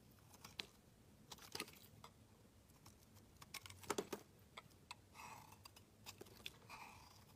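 A metal utility knife blade scrapes and shaves a solid dark grey rectangular bar of soap, curling off shavings. Quiet, sharp scraping clicks and short crisp cuts come in an irregular series, with a cluster of louder snaps near the middle. Two longer, bright rasping strokes follow toward the end.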